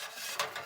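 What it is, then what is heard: Fully baked bread loaf. A hot loaf of bread, turned over onto a tea towel, is thumped on the underside crust, giving short, dull knocks with a bright, papery edge and little ring. The solid thump shows the loaf is fully baked.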